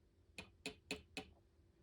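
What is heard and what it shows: An emu egg holding a live, moving chick is tapped four times with nail clippers. Each tap is a short, bright click that dies away almost at once. The egg gives a solid sound, as expected for a live egg.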